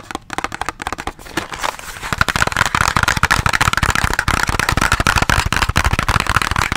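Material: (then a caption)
Cardboard. A small, hollow white cardboard box with teal edges, like product packaging, is held close to the mic and tapped and scratched with fingertips and nails. Soft, sparse taps give way after about two seconds to a dense, rapid run of dull hollow thumps mixed with dry, papery scratching.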